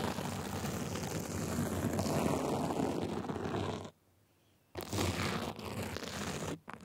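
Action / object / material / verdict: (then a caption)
scrape / sequin fabric cover / sequin fabric / none. Small white plastic tools held in both hands scratch the sides of a gold sequin glitter fabric sleeve cover, making a dense, continuous rasping with a low rumbling body and a bright edge. The scratching stops for almost a second of near silence, then resumes just as busily before a brief drop at the end.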